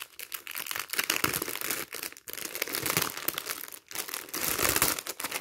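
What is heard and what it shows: A thin, hollow, empty clear plastic film bag used as a magazine wrapper, lying on a stack of magazines, is pressed, squeezed and crumpled by fingertips and palms. The result is dense, bright crinkling and crackling in irregular bursts, with brief pauses between handfuls.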